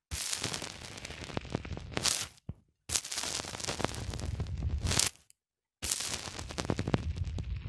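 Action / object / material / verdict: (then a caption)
scrape / polyethylene foam block pressed with a small plastic cylinder / polyethylene foam / none. Fingertips repeatedly press a small black plastic cylinder into a white polyethylene foam block. The result is dense, crackly squeaking and creaking with a low rumble and bright edges. It comes in three continuous stretches separated by brief silences.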